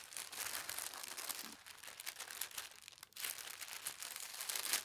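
A folded, thin teal tissue paper sheet is pressed and smoothed flat with the palms and long red-nailed fingers. This makes a steady, bright crinkling and rustling with soft crunches. The sound dips briefly near the three-second mark, then resumes and grows slightly louder toward the end.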